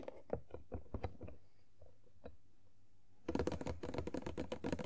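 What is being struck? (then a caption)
Cardboard toy box with clear plastic window. Long nails tap on the top and sides of an empty, hand-sized printed cardboard Funko Pop box of Tuxedo Mask with a clear plastic window. Spaced, dull, hollow clicks are followed by a brief quiet stretch. Then a dense flurry of rapid, brighter tapping fills the final second and a half.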